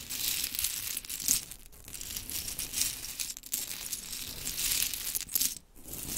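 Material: Wood.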